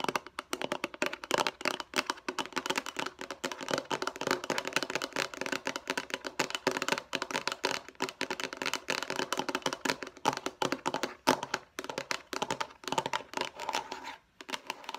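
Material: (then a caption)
Plastic. A hollow light blue plastic food storage box is tapped and scratched rapidly with long acrylic nails. The result is a dense stream of fast, dry, clicky taps with scratchy bright edges, very short ring and almost no low end.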